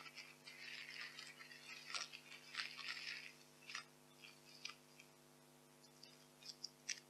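Handfuls of white expanded polystyrene packing peanuts are squeezed and crunched in both fists, making bright, squeaky crackling and rustling bursts over a faint steady hum. The crunching is dense for the first few seconds, then thins to a quieter stretch broken by a few sharp, short squeaks near the end.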